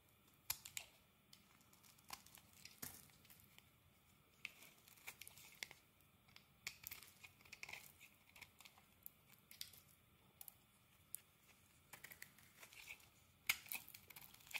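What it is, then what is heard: Bar of soap being carved. A metal blade carves flakes off a solid yellow and green Palmolive soap bar, making quiet, dry, crisp scraping and crackling sounds. The short, bright bursts come in irregular clusters with almost no low end and no ring between cuts.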